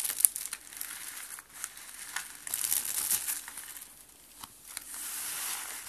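A round rose of green and white dry soap shavings is held in both hands, with red-nailed fingertips, and pressed until it crumbles into flakes. The result is a quiet, dry crunching and crinkling that is bright and hissy, coming in irregular bursts with almost no low end.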